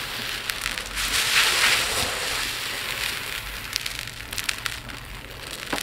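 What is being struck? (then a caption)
Small resin beads in a plate. Hands rake through a pile of tiny multicolored resin diamond art drills in a dark plate, then scoop a handful and pour a stream back onto the pile. The sound is a bright, dense rattling hiss of many small pieces, with sharp little clicks scattered throughout and almost no low end.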